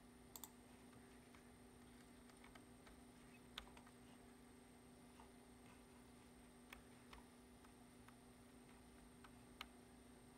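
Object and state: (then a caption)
Plastic computer keyboard. Fingertips tap sparsely on the keys of a black plastic computer keyboard, giving short, sharp clicks and ticks spread across the clip. A steady low hum and a faint high whine run underneath throughout.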